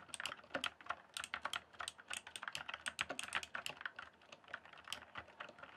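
Fast fingertip typing on a full-size RGB-backlit plastic mechanical computer keyboard with hollow keys on a solid base. A rapid, uneven stream of short, bright plastic clicks and clacks with little low end and almost no ring between strokes.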